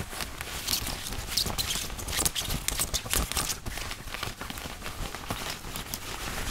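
Fingertips scratch, grip and rub the chest, placket and pocket of a worn white woven cotton dress shirt made of thin fabric. The result is a dense, continuous run of crisp, bright scratching and rustling with quick dry flicks and no ring.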